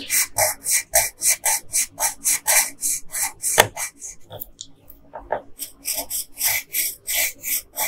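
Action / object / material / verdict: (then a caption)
scrape / wooden colored pencil on a thin paper sheet / paper / none. A yellow wooden colored pencil, held with long pink nails, shades the hair on a thin paper coloring sheet lying flat on a table. Rapid rubbing and scratching strokes sound bright and raspy, with a short pause near the middle before the steady scratching resumes.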